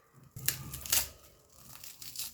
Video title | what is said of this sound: Western Odisha famous Chaaval Bada - ପଶ୍ଚିମ ଓଡିଶା ଚାଉଳ ବରା ଓ ତେତେଲ ଝୋଲ ସାଥେ ପାତାଳ ଘଣ୍ଟା ଚଟଣି - | Listen, how crispy it is